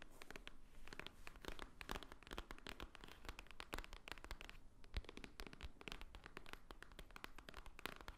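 Long painted nails tap and scratch the top edge and front of a small, hollow white Swarovski cardboard jewelry box standing upright. The result is a quiet, steady stream of rapid, dry clicks and scratchy rustling with bright crisp edges and a soft hollow low thump. Each tap dies away almost instantly.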